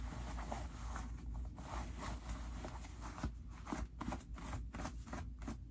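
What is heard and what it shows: Fingertips pull the white pocket linings out of dark stretch cotton denim jeans and rub them. Soft, papery fabric rustling and scratchy brushing come in uneven bursts over a steady low rumble.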